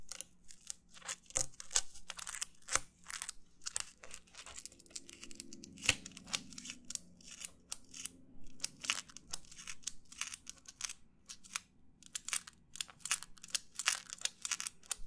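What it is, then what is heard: Paper plate. Fingernails of both hands rapidly scratch and tap near the rim of a white, textured disposable paper plate held close in front of the microphone. The result is a dense, quiet stream of dry, bright crackling and papery clicks with brief sharp taps and almost no ring, over a faint low hum.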